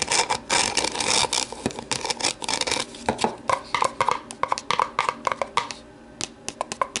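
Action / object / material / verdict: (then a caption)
scrape / plastic deli container / plastic / none. Long nails scratch and rub the ribbed rim and sides of an empty, hollow, translucent plastic deli container held tilted in the hands. A dense burst of bright, raspy scratching gives way to a run of crisp, short plastic clicks and scrapes with a hollow ring near 1 kHz. A brief quieter pause comes near the end before a few final clicks.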